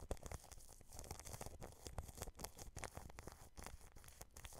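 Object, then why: Plastic cling film over a microphone. A paintbrush brushes from the side across clear plastic cling film wrapped over a microphone grille. It produces a continuous, close, crinkling and scratchy rustle made of rapid small bursts with bright crackles. A heavy low rumble sits underneath throughout.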